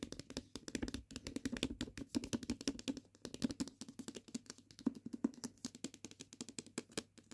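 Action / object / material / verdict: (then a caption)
tap / hardcover book with board covers and paper pages / paper, board / none. A hardcover "Book of Night" with a dark cover and decorated page edges, solid paper with board covers, is held on a patterned blanket while long painted fingernails and fingertips tap first along its spine edge and then across its front cover. A quick, uneven stream of light, dry clicks and soft knocks has a hollow body around 250 Hz and crisp nail ticks on top, each dying away almost instantly.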